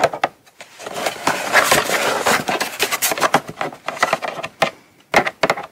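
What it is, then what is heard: Cardboard box. Long nails tap quickly on the lid and edges of a small, closed, hollow brown kraft cardboard gift box held up in both hands. Dry, bright clicks with a hollow knock die away almost at once. They start sparse, blur into a dense rapid flurry through the middle, then thin out to scattered taps with a final quick burst.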